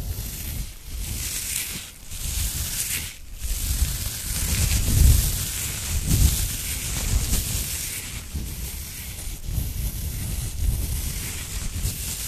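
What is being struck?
Nothing is struck.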